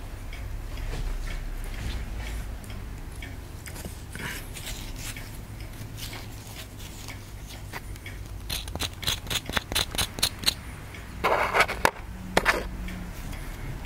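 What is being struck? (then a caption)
Plaster excavation block scraped with a wooden stick. A wooden stick scrapes the surface of a small, solid white plaster excavation block held in the fingers, in repeated short strokes. Soft, dry scratching over a low rumble gives way midway to a quick run of crisp, bright scrapes, followed by a few louder gritty rasps near the end.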